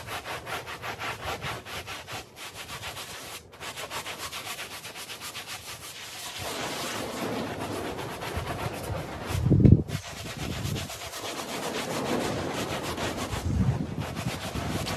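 A handheld blue bristle brush scrubs a small, wet, dirty woven fabric rug covered in soap foam on the floor. Steady, rhythmic scrubbing strokes make a dense, raspy swish with a low, heavy body. The scrubbing grows fuller and wetter partway through, with one brief louder burst.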